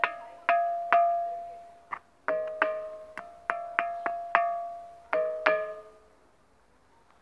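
A hand strikes the top surface of a large, solid, ancient limestone block at the Jerash ruins with a small hand-held pebble, giving fourteen separate taps. Each tap rings with a clear, bell-like tone centered near 690 Hz, with bright overtones above it. The tones decay quickly and fade to quiet at the end.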